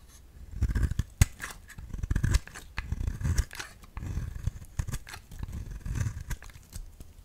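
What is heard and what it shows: A solid round cream bar soap is held in hand and cut into thin slices with a utility knife blade. Crisp, scraping slicing strokes come in bursts with sharp snaps, over a deep low thud at each cut.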